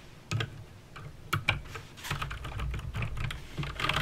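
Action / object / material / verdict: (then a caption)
tap / plastic mechanical keyboard keys / plastic / none. Fingertips with painted nails type on a backlit mechanical keyboard with plastic keycaps and clicky green switches. Sharp, bright clicks land over a low thud from each keystroke, starting as a few separate presses and building into a dense, uneven run of typing. Each click dies away almost instantly.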